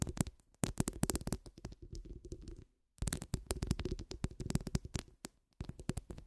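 Long acrylic nails scratch and tap the steel mesh of a hollow metal microphone head held between both hands. The result is a dense run of quick, dull thumping taps and scratchy rustles, mostly low and boomy with faint bright crackle. The sound breaks off into silence twice before picking up again.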